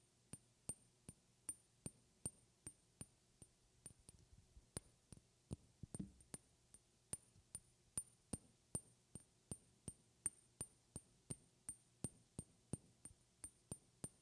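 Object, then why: Glass object. A glass object is tapped hard and soft close to the microphone, giving a steady run of about three dozen separate clinking taps. Each tap has a bright, high glassy ping that dies away almost at once, over a faint low hum.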